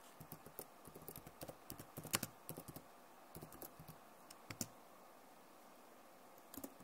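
Long nails tap the keys of a backlit plastic laptop keyboard while the fingers type, making a quick run of short, dry clicks with bright edges and a soft low thump under some strokes. The taps come in uneven bursts with brief pauses between them. Each click dies away almost at once.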